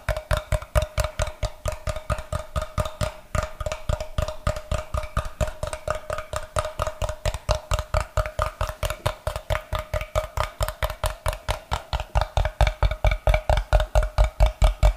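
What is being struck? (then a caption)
Block of light unfinished wood. A solid block of light, unfinished wood, held in the hands, is tapped with fingertips and nails in a fast, fairly steady rhythm. About 76 short, dry knocks sound with a deep thud, a hollow woody ring near 600 Hz, and a faint bright click from the nails. Each knock dies away almost at once.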